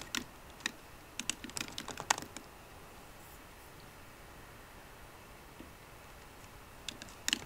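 Fingertips with short green nails tap the low-profile plastic keys of a 13-inch aluminum MacBook Pro keyboard. The typing comes as a quick run of crisp, bright key clicks over the first two seconds or so, then a long quiet pause, then a few more taps at the end.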